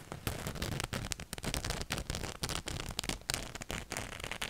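Fingernails scratch a black cotton t-shirt with a ghost print just behind the microphone. It makes a dense run of rough, crackling scrapes with a bright, hissy top and a close, boomy low end. The short bursts stop and start quickly in an uneven rhythm.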